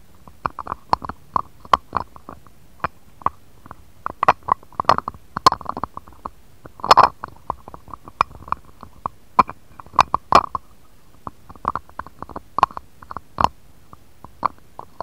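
A jade stone roller on a metal handle is rolled and tapped over an empty, shallow, round, clear patterned glass dish. Many short, sharp clicks and taps ring out with a glassy tone around 1.1 kHz and brief bright edges, scattered irregularly through the clip over a quiet background.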